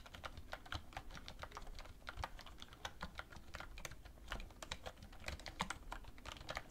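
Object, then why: Plastic computer keyboard. A black plastic wireless computer keyboard on a wooden desk is typed on with both hands, using fingertips and long red-painted nails. Rapid, crisp key taps click out in quick succession, each a sharp, bright tick that dies away almost instantly over a low, steady rumble.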